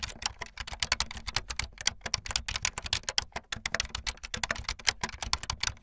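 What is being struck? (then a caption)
Plastic membrane keyboard. Fast typing on a full-size, backlit plastic Bluetooth membrane keyboard with white and blue plastic keycaps and a hollow plastic body, the keys pressed with fingertips and the tips of long painted nails. A rapid, uneven stream of bright, dry plastic clicks and clacks rattles along with no ring after each press.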